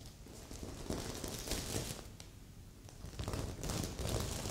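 Long nails scratch across the sequins of a stuffed magenta and silver sequin heart pillow, with a second, untouched pillow beside it. The result is a steady, uneven run of bright, crinkly rustling and scraping with soft, low thuds underneath. It swells louder in bursts near the middle and the end.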